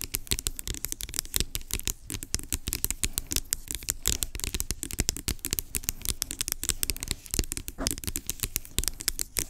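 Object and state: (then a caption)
Plastic pump bottle, hollow. Long acrylic nails rapidly tap and scratch across a large, hollow, blue-labelled plastic pump bottle lying on its side. The result is a dense, continuous patter of short, dry clicks with bright scratchy edges over a faint low, hollow knock.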